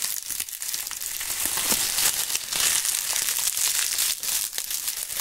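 Dry, brittle brown maple leaves are squeezed and crumpled in gloved hands. The result is a steady, dense crackling crunch with irregular bursts, almost all in the bright high range and with very little low end.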